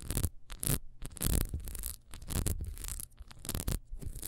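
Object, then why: Small ribbed wax candle. Long nails scratch quickly along the ridged wax of a small, solid, ribbed beehive candle. The result is a fast, uneven run of dry, bright scraping bursts over a low, steady rumble.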